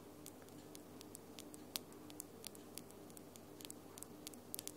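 Long, glitter-coated acrylic fingernails, small, hard and solid, tap slowly against each other close to the recorder, on fingers wearing gold rings. Each tap is a quiet, sharp, high click that dies away instantly, scattered irregularly over a faint, steady low hum.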